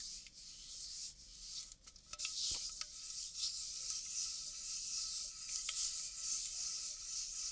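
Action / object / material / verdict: scrape / aluminium drink can / aluminium / none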